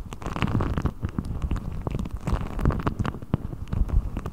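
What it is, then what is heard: Deflated rubber ball rubbed. A blue deflated rubber ball, its thin hollow skin stretched over the top of a microphone, is pulled and rubbed with the fingertips of both hands. The result is a continuous, deep, rumbling stream of close rubbery squeaks and scratchy crackles, heavy in the low end with dull, short bursts that don't ring out.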